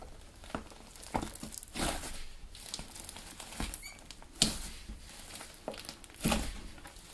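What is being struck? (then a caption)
Soft clay slime. A large flattened mass of blue soft clay slime on a white table is pressed, folded and kneaded with fingertips that have short dark-painted nails. The slime gives soft squishing and crinkling sounds in uneven bursts, with a few sharper crackles standing out.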